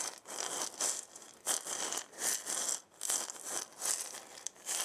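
A hand with long painted nails shakes a hand-sized round wooden maraca with a wooden handle and a burned zigzag pattern, its hollow body holding filling inside. The filling gives bright, hissy rattling swishes in uneven, swelling bursts with almost no low end.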